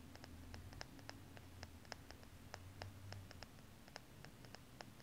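Long painted nails scratch and tap the shiny side of a small, solid, gold-tone metal four-leaf clover pendant held in the fingers. Many quick, bright, dry clicks and taps ring high over a steady low hum, each dying away almost at once.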